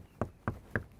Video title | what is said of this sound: Defender D110 Emma Walk-around - Helderburg | that really makes everything really solid